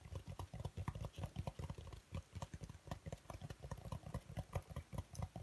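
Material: Foam.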